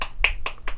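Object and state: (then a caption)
Wooden medal, not metal. A bronze-colored third-place award medal from a convention skit contest is tapped, giving four short, dull knocks with little ring. The knocks sound like wood rather than metal, confirming the medal is made of wood, not metal.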